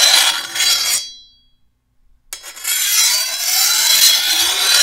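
A long, thin, solid steel machete blade is held by the handle while a metal file is stroked by hand along its edge. A bright, hissing rasp fades into a brief silence, then picks up again and continues steadily to the end, with faint high metallic ringing under the scrape.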